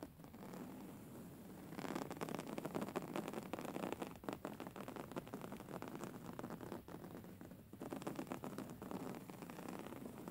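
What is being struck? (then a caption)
Woven fabric pillow. Fingernails tap and scratch the textured cover of a soft, filled grey woven-fabric pillow. After a quiet, hissy opening, a dense, steady rustling and scratching starts at about two seconds and carries on with brief dips to the end.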